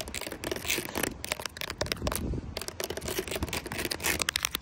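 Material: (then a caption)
Carpet fibre. Long pointed nails tap and scratch into the fibrous surface of a flat grey speckled carpet or felt mat, making quick bright scratchy taps and rustles. About twenty separate taps stand out, with a short pause near the middle.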